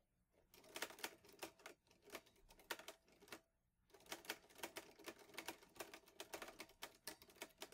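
Fingertips type steadily on the keys of a vintage teal metal Underwood Olivetti Lettera 22 portable typewriter with paper loaded. The typing is a rapid run of sharp, bright clacks that stop dead with no ring. It breaks off in short pauses near 1.8 and 3.5 seconds, then continues densely to the end.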